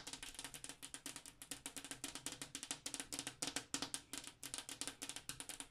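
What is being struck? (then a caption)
Glass wall mirror. Long acrylic nails tap rapidly across a large, flat, solid-pane glass bathroom mirror, with the hands resting flat against it. About 43 short, bright clicks run in quick, uneven bursts, each dying away almost at once, with a faint tone around 277 Hz under the crisp high-frequency ticks.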